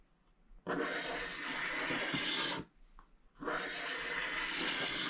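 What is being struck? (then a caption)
Scratch-art paper scraped with a wooden stylus. A wooden stylus scratches the remaining black coating off a scratch-art paper page in two long strokes, separated by a short pause. Each stroke gives a steady, bright, dry rasping scrape.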